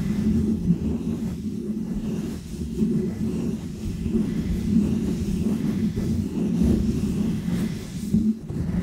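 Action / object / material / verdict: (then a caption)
scrape / foam microphone windscreen / foam / none. Painted fingernails scratch a small round white textured foam windscreen on a microphone. The result is a steady, dense, muffled rumbling scratch, concentrated in the low range around 200 Hz, with almost no bright content. It swells and dips slightly throughout.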